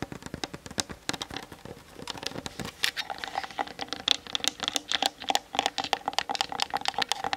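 Long nails tap rapidly on the sides of the hollow plastic body of a Canon DSLR camera mounted on a tripod. The result is a fast, continuous patter of dry, bright clicks that stop instantly with no ring. Partway through, the taps take on a faint hollow, pitched tone.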